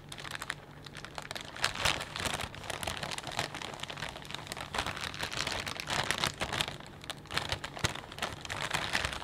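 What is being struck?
Plastic bag of potato chips.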